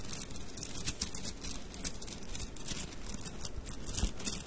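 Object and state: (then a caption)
Bundle of wooden mikado sticks. A bundle of thin, solid wooden mikado sticks is held horizontally in both hands while the fingers roll and rub the sticks together. The result is quiet, rapid, bright clicking and light pattering over a soft low rumble, with a few sharper clicks standing out.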